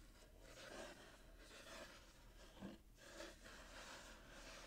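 Fingertips and short nails scratch across the gold glitter-striped wrapping paper of a small, hollow, closed cardboard box with a satin bow, held in the hands. The result is a quiet, continuous rasping scratch in repeated swelling strokes, bright and papery, with a brief fuller, lower swell partway through.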